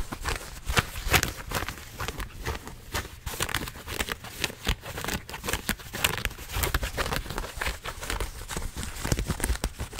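A pair of blue denim jeans held in both hands in front of a microphone has its fabric scratched and rubbed with fingertips and nails. The result is a steady run of rapid, rough scratching bursts, each short and dry with no ring. The bursts span a bright, crackly top and a heavy low handling rumble.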